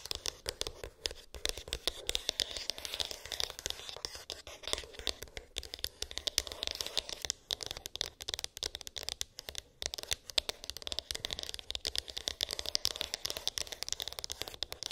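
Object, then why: Small rigid cardboard box. Long acrylic nails tap and scratch the glossy printed top of a small, closed, rigid cardboard iPhone box. The result is a dense, continuous stream of rapid, crisp clicks and dry scratching, bright and high-pitched with almost no low end.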